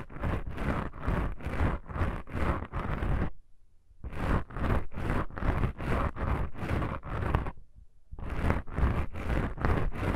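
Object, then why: Foam microphone windscreen. Long pink nail tips on both hands scratch black foam microphone windscreens, making a soft, scratchy rasp. The strokes come in quick rhythmic runs of three bursts separated by short pauses, with a deep, low-heavy rumble under bright, airy scratching.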